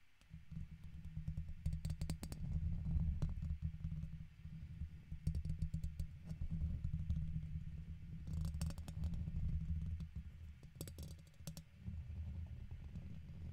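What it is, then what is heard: Metal microphone mesh grille. A red plastic guitar pick scratches the side of a silver microphone's hollow domed metal mesh grille. The scraping comes through as a dense, low, rumbling rasp with short bursts of sharp crackling ticks. It swells and fades in uneven waves throughout.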